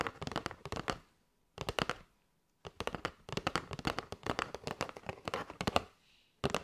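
Long light-grey nails tap rapidly on a flat kraft cardboard box with a clear window, full of paper straws and held in both hands. The taps come in quick bursts separated by short silences, each a sharp, dry, papery click with almost no ring.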